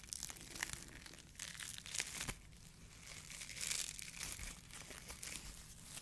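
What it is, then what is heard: Foam fruit protection net. A small, hollow, empty white polyethylene foam mesh sleeve of the kind used to protect fruit is squeezed, crinkled and rubbed with the fingertips of both hands. The result is a quiet, dense stream of bright, dry crinkling and squeaky crackles with short bursts that swell and fade.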